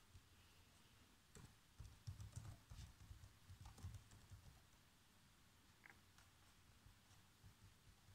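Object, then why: Plastic laptop keyboard. Bare fingertips with short nails type continuously on a black plastic laptop keyboard. Soft, low, thuddy key taps come in an uneven patter, with occasional bright clicks. A denser burst in the middle fades to lighter, sparser tapping.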